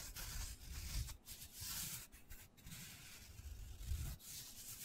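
Fingertips rub and scratch the porous surface of a hand-sized black foam cylinder. The sound is a soft, bright, scratchy hiss that swells and fades in uneven passes over dull low thuds of contact.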